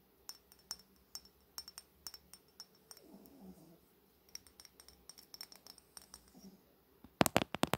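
Long nails tap slowly along a Fenty Beauty bronze-coated glass bottle held in both hands, making sharp, bright clicks that die away almost instantly. Between the spaced taps there is a soft, low rustle. The clip ends with a louder, rapid cluster of taps.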